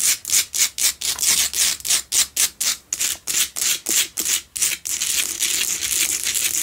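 Long nails scratch the sides and front of a solid pink Himalayan salt double candle holder, making a rapid series of separate, bright, raspy strokes. The strokes then merge into a continuous scratching sound for the last couple of seconds, with a faint background.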